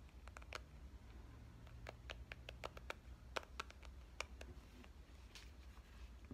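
A pink compact digital camera, held with its screen facing out, is tapped on its screen and frame with the fingernails of both hands. The result is a quiet, irregular patter of short, sharp clicks, some brighter and louder than others, over a steady low hum.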